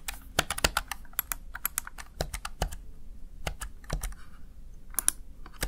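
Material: Plastic.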